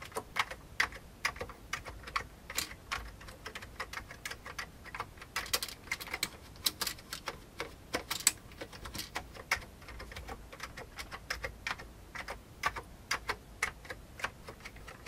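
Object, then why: Plastic computer keyboard. Fingertips of both hands type rapidly on an old beige full-size plastic computer keyboard with hollow keycaps. Its quick, bright, clicky key taps come in uneven bursts over a quiet background, each tap dying away almost instantly.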